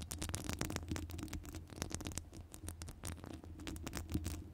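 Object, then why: Metal wire-mesh microphone grille. Long nails scratch across the top of a hollow metal wire-mesh microphone grille. A dense, continuous stream of rapid scratches and light ticks comes through, with bright crackly streaks over a steady low, boomy rumble. The sound stays fairly even throughout, with small swells and brief dips.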